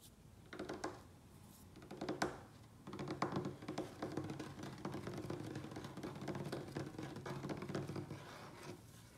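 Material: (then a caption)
Wood. A large solid wooden tabletop is tapped and scratched with fingertips and short nails, with fast tapping from both hands. Soft, dull knocks and scratches come in short bursts before a steady, continuous run of rapid taps from about three seconds on. The sound is quiet and mostly low-mid, with very little high end.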